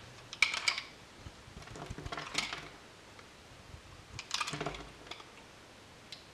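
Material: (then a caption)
Soap. A solid blue bar of soap held in the hand is scraped and shaved with a metal utility knife blade, producing flakes and curls. Bursts of crisp, bright scraping come in uneven clusters, with small ticks and crackles between them over a quiet background.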